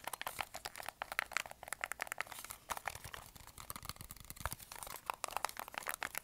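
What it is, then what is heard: Plastic TV remote. A black plastic TV remote control with rubber buttons is held in both hands while its buttons are clicked and its body is tapped and scratched with fingertips and nails. The result is a quiet, rapid, irregular stream of dry, bright clicks, taps and scratchy crinkles, with almost no low end and no ringing after each hit.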